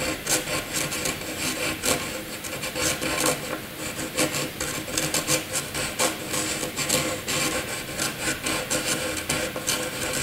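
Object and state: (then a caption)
Pencil scratching on paper. A graphite pencil scratches looping scribbles across a sheet of white paper. The result is a continuous, dry, raspy scratching with bright, hissy strokes that swell and fade in quick succession over about ten seconds.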